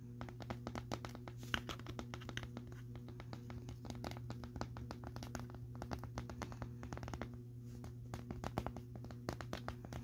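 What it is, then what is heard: Plastic vacuum dust bin. Fingertips tap and scratch the side of a clear plastic Bissell vacuum dust bin on a purple base, packed full of dust and debris and sitting on carpet. The result is a dense run of quick, dry, crisp clicks and scrapes over a steady low hum, with a brief lull where the hand lifts away.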